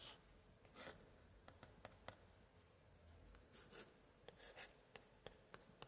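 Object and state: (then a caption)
Old paper scrapbook pages. A thin pointer held in a white-gloved hand scratches and traces across the glued paper picture cards on an open spread of an antique 1880s paper scrapbook. Short, bright, dry scratching ticks alternate with softer rubbing swishes over a quiet, hushed background.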